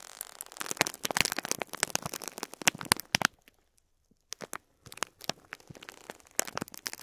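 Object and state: Plastic bag of beads crinkled.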